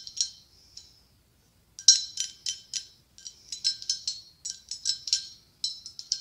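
Fingernails tap and scratch the ribbed side of a hollow white blown-glass pumpkin with a gold stem, giving 19 quick, bright clicks in uneven bursts with a short pause near the start. Each tap is high and glassy, ringing only briefly before fading.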